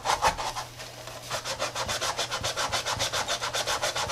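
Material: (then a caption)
Rubber. A tie-dye Adidas sneaker made of textile and rubber lies on its side on a granite counter while a gloved hand scrubs its foam-and-rubber midsole with a soapy brush. A few louder strokes open the clip, then a softer stretch gives way to brisk, steady back-and-forth rubbing. Each stroke makes a bright, bristly hiss that stops short with almost no ring.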